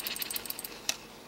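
An Optimus Polaris multi-fuel camping stove is shaken, and its built-in metal jet-cleaning needle rattles inside the jet. A quick run of light, bright metallic ticks ends in one sharper click, then quiet. The rattle shows the needle is present and free to move.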